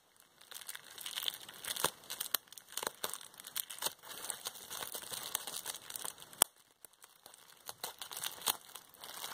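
A crumpled sheet of clear plastic bubble wrap is held in both hands while long painted nails pinch its air bubbles, popping them and crinkling the sheet. The result is a steady, bright crackling rustle broken by sharp, dry pops with almost no low end. The loudest pops land near 1.9, 6.4 and 9.3 seconds.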